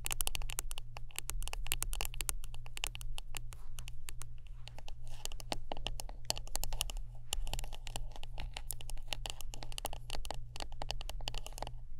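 Close-up tapping and scratching on a wooden brush: a rapid, continuous stream of dry, crisp clicks and scrapes that reach bright highs, with bursts thinning briefly around the middle. A steady low hum sits underneath throughout.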